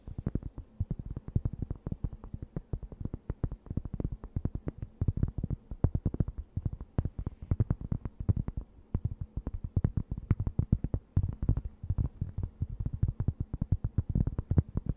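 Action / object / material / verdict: scrape / thin round cork board / cork / none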